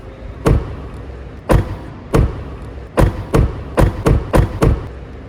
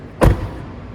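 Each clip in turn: First: solid-sounding car door. Second: tinny, hollow-sounding car door.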